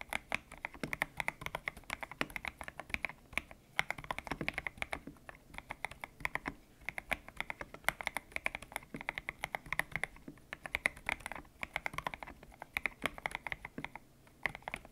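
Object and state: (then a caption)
Mechanical keyboard with PBT plastic keycaps. Fingertips type steadily on a white-cased mechanical keyboard with grey and pink PBT plastic keycaps, its hollow case resting on a desk mat. Quick, dense keystrokes produce short, bright clacks centred around 2 kHz, with very little low end. Each tap dies away almost instantly.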